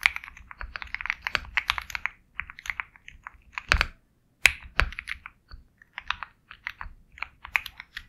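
Fingertips of both hands type continuously on a compact 65% Sugar65 mechanical keyboard with KTT Kang White switches, a black case, and white and black plastic keycaps. Bright, crisp, clacky key presses come in an irregular flurry, with a brief pause just after 4 seconds. A few heavier strikes land around 3.7 and 4.5–4.8 seconds, each stopping dead with almost no ring.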